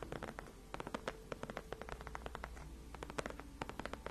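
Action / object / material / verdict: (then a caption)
scrape / padded faux leather chair backrest / faux leather / none. Long acrylic nails on both hands scratch and tap across the large, cushioned white padded faux leather backrest of a gaming chair. A quick, irregular series of soft, dry clicks and brushing scratches sits over a steady low hum, each tap dying away almost at once.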